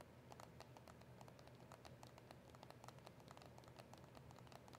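Long acrylic nails tap a small, hollow cardboard box of press-on nails with a clear plastic window. A quick, steady patter of light, bright clicks continues throughout over a soft, constant low hum. The clip is quiet overall.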